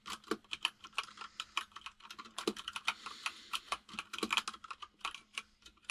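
Both hands type rapidly with the fingertips on a compact mechanical keyboard with white and grey plastic keycaps on a desk. The result is a fast, uneven stream of short, bright plastic clicks and clacks that die away almost instantly, with a faint low hum underneath.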